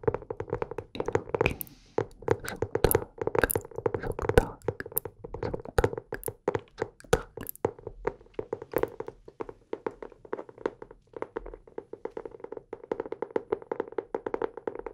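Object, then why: Hardcover notebook cover. Fingertips and nails tap the cover and edges of a teal hardcover notebook held in both hands close to the microphone. The result is a fast, dense stream of short, dry taps with a hollow mid-range tone and almost no ring, some louder and brighter than others.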